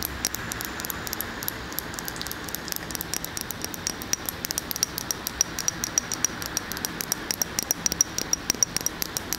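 A large glass candle jar filled with solid wax is held in one hand and tapped on its glass side with long fingernails. Quick, bright clicks follow one another in a steady, rapid stream, each with a faint high ring. A soft hiss runs underneath.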